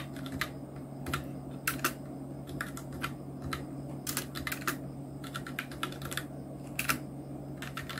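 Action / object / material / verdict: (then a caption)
tap / plastic mechanical keyboard / plastic / none. Both hands' fingertips type on a full-size black Nubwo Illution NK-70 mechanical keyboard with Outemu red switches, round plastic typewriter-style keycaps and blue backlight, resting on a white desk. Quick, uneven runs of sharp plastic clicks and clacks sound bright over a steady low hum.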